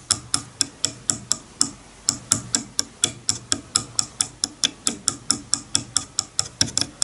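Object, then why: Wide-tooth wooden comb. A wide-tooth wooden comb lying on a bamboo board has its teeth plucked one after another with a fingernail, giving about 30 sharp, bright ticks over seven seconds. Each pluck is a dry, high click with a faint low thump beneath it, dying away almost instantly.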